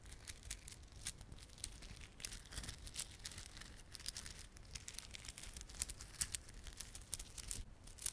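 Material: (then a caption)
Plastic. Fingertips rub and squeeze a small clump of plastic garland held in both palms, made of glossy dark blue and silver solid plastic beads with red spiky plastic fringe. The result is a steady stream of dense, bright clicks and crinkles with a low rumble underneath and no lingering ring.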